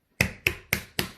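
A baked challah loaf is turned over and tapped on the bottom four times, each tap a short, hollow, drum-like knock with a bright top rather than a dull thud. The hollow sound shows the bread is done.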